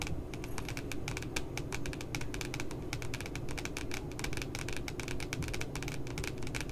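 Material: Cardboard.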